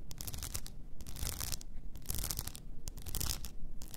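Long nails scratch along the sides and frosted lid of an upright blue rhinestone-covered tumbler. The result is a continuous bright, gritty rasping in uneven bursts over a low rumble.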